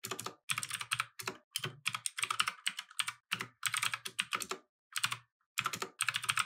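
Fingertips type continuously on a compact mechanical keyboard with plastic keycaps resting on a wooden desk. Quick, bright, clicky key clatter comes in rapid bursts separated by brief pauses, with a soft low thump under each press. Every click cuts off almost instantly.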